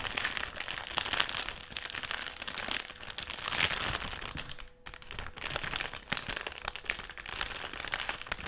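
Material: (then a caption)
Plastic foil. Long nails and fingertips scratch and tap a large, flat, dark plastic foil chips bag that appears sealed and filled as it lies on a table. The result is a dense, continuous crinkling and crackling, bright and papery, with quick sharp ticks throughout and a brief lull just before the five-second mark.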